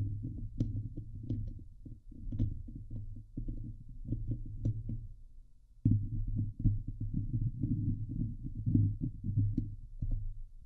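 Long nails of both hands scratch the hollow steel mesh grille of a Blue Yeti microphone. The result is a dense, low, muffled rumbling scrape with a steady hum underneath and faint bright ticks on top. It dips briefly, then resumes louder.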